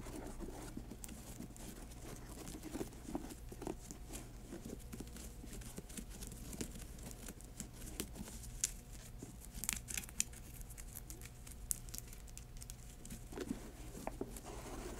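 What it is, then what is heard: Patent leather sneaker, scratched and tapped. Long acrylic nails scratch and tap an empty high-top sneaker with a grey glossy patent leather and mesh upper, white laces and a white rubber sole, working over both the upper and the laces. Quiet, steady crinkly scratching runs throughout with dry, sharp taps and bright clicks poking out, over a low steady hum.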